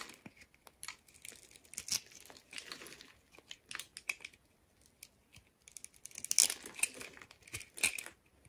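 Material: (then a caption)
Soap. A hand-sized solid purple soap bar, pre-scored into a grid, is cut and scraped into small cubes with a utility knife blade, and small pieces crumble off. The sound is a dense run of bright, crisp scraping and crumbling clicks, mostly high-pitched, with almost no low end. It ends in a few louder bursts near the end.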